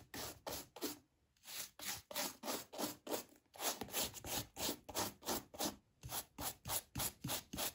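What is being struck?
Leather shoe upper brushed with a bristle brush.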